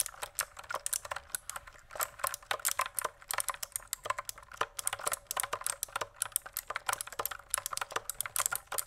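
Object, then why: Plastic mechanical keyboard with plastic keycaps. Fingertips type steadily on a pink plastic mechanical keyboard with plastic keycaps. The fast, uneven run of short, dry clacks sounds bright and crisp, with almost no low end. Each keystroke stops sharply with no ring.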